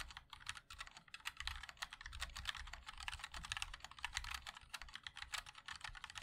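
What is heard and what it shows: A 60% MOD-L mechanical keyboard with a black aluminium case, white and black ABS keycaps and linear switches is typed on continuously by the fingertips of both hands. It gives a rapid, uneven stream of bright, dry clacks with a soft low thump beneath each press, and every tap dies away almost instantly.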